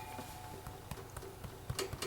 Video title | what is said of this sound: Motley Monday: The Secret to a Great Tea Sandwich | it sounds hollow. So I'm going to say it's done.